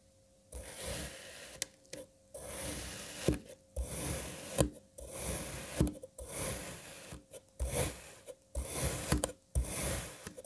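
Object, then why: Kinetic sand block. A serrated knife cross-cuts a lime kinetic sand puzzle block that has already been sliced into strips. It makes a series of grainy, rasping strokes with a low, dull body, broken by short pauses and sharp little clicks as the blade pushes through.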